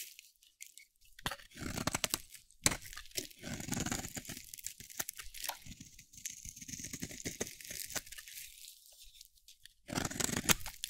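A solid, dry pink soap bar held in the hand is shaved with a metal utility blade, giving quiet, dense crunchy scraping with bright, crisp texture. The strokes come in rapid bursts separated by brief pauses, and a louder flurry of scraping comes near the end.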